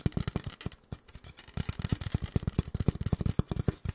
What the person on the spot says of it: the somewhat bassy, sticky tapping sounds of Styrofoam